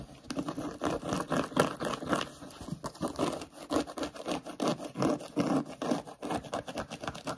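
Short nails scratch and rub quickly over a hollow grey suede-like, sheepskin-style boot with sparkly dots. Rapid, dry, papery scratching bursts come in an uneven, fast rhythm, centered in the low-mid range with little bright content. Each stroke dies away almost at once.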